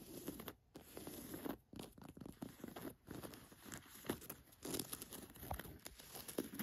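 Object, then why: Cotton canvas jacket pocket. Long nails tap and scratch the chest pocket and flap of an olive cotton canvas jacket. Quick, dry scratches and taps rasp and crinkle against the fabric, with short pauses between bursts and little ring after each stroke.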